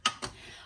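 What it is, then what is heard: Sealed canning jar lid. A metal canning lid on a glass canning jar is tapped twice to check its seal. Each tap is a bright, high-pitched tick around 1.3 kHz that dies away almost at once. The jar has sealed, giving the tight, dull sound of a good seal.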